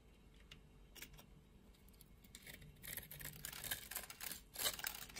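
A solid, opaque purple soap bar with a scored grid, held in the hand, is shaved into flakes with a utility knife blade. Quiet, bright, crisp scraping strokes come at an uneven pace and grow denser and louder toward the end.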